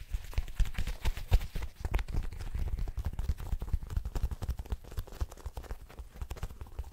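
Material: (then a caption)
Leather. A blue smooth leather jacket, soft and flexible, is held up in both hands while long nails and fingertips scratch and rub the leather. The result is a rapid, uneven stream of dull, low, muffled taps and thumps, with soft scratchy rustling over the top.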